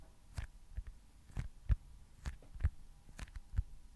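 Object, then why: Foam stress ball. Fingertips tap on a small, solid white foam baseball stress ball. About nine soft, dull thuds land at an uneven pace, each low-pitched and dying away almost instantly, with quiet pauses between them.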